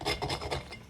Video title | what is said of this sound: زهقنا من الأكل التقليدي - بس الأكلة دي مش هتزهقوا منها😋🍆 | اسمعوا بقى القرمشة خطيرة جدا